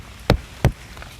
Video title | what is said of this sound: কাঁঠাল পাকা নাকি কাঁচা? শুধু আওয়াজ শুনেই চিনুন - ৯৯% মানুষ জানে না! - Jackfruit Buying Tips | এই আওয়াজটা হলো ধ্যাপ ধ্যাপে, অর্থাৎ এই দুটো পাকা